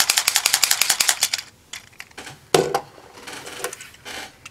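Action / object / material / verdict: shake / small plastic toy bottle with loose contents / plastic / none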